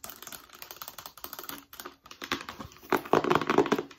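A long, narrow, hollow white rigid cardboard accessory box, held vertically, is scratched and tapped on its surface with long nails. Quick, dry, clicky taps and scratches come in an uneven patter, with short hollow knocks centered near 1 kHz. The tapping grows louder and denser toward the end.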